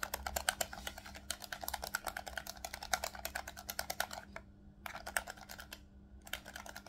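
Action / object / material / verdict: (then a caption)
tap / plastic game controller / plastic / none. A black plastic Nintendo Switch Pro controller, a hollow handheld device held in both hands, has its shoulder buttons and triggers pressed rapidly by fingertips. The result is a fast, dense run of sharp, dry, bright clicking taps with almost no ring. Two brief pauses break the run, and a faint steady low hum sits underneath.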